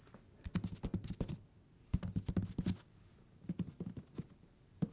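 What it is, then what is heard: Fingertip tapping on paper book page edges. Fingertips tap and scratch the paper page edges of a thick hardcover book turned sideways. Quiet, dull, low thuds with short, dry scratchy ticks come in three quick bursts separated by brief pauses, each tap dying away almost instantly.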